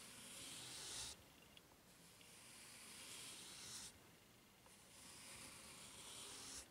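Fingertips and nails rub across the serrated underside of a white ridged rubber flip-flop sole. Three long, steady scratching strokes each build a soft, bright, hissy rasp, then drop off into a brief quieter gap.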